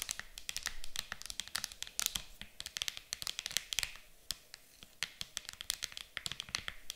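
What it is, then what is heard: Clear plastic game case. Long acrylic nails tap fast on the lid of an empty, clear hard plastic game case lying flat, in a rapid, typing-like rhythm. The sound is a dense run of sharp, bright clicks that die away almost instantly, with a few brief scratchy bursts where the taps blur together.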